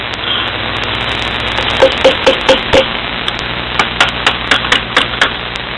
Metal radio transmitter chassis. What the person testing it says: I can hear you pecking on it now it didn't change anything